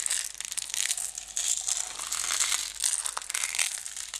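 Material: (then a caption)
Plastic. Long red nails scratch and tap the wall and label of a closed clear plastic jar full of green decorative stones as it is tilted. The result is a steady, bright, crackly scratching with quick clicks and a crinkling rasp, all high in pitch with no low end.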